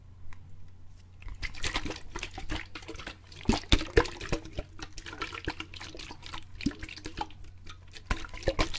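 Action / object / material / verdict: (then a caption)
shake / plastic bottle of water / plastic / none. A clear plastic bottle of water is held by the fingertips, shaken horizontally and then held upright so the water swirls inside. Soft sloshing and gurgling come with many quick, bright splashes and taps over a steady low hum.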